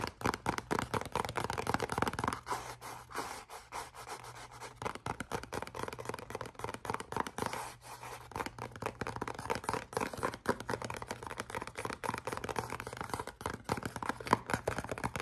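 A small, hollow, black printed cardboard perfume box is held in both hands and scratched and tapped with the fingernails. Dense, dry scratching and quick hollow taps come in a steady run, with a faint low steady tone underneath at times.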